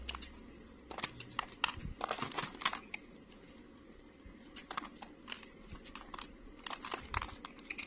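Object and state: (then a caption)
Dry bar soap being scraped. A utility knife blade scrapes brittle curls and flakes off a solid, dry, beige round bar of soap held in the hand. The scraping comes as short, dry, crackling bursts with a bright, crinkly edge, separated by quiet gaps. Each burst stops sharply with almost no ring.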